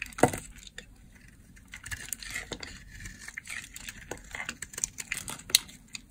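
A blade shaves crumbly curls off an oval purple bar of dry solid soap held in the hand. It makes a run of quick, bright, crunchy scraping crackles with short dry snaps and little low end. A louder crunch comes near the start and another near the end.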